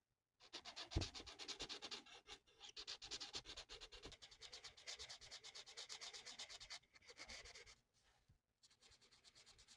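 A felt-tip marker is rubbed quickly back and forth across a thin, flat paper coloring sheet of a mandala, filling it in with dense strokes. The result is a steady, quiet run of rapid, bright, scratchy hisses that stops briefly near the end before the strokes resume more softly.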